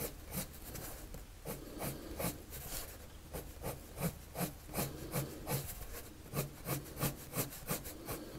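A blue colored pencil draws strokes across a white paper sheet resting on a table. Quick, fairly regular rubbing strokes repeat at a steady pace, each a soft, bright, scratchy swipe over a low, quiet background.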